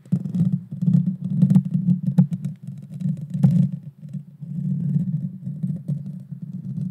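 Long dark fingernails scratch the small hollow round metal mesh grille of a Blue Yeti Nano microphone. The result is a deep, muffled rumbling scrape that swells and fades in waves, punctuated by a few sharp, bright clicks.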